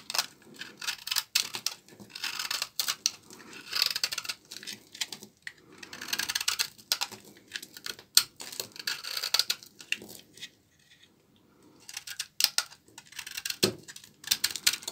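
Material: Soap.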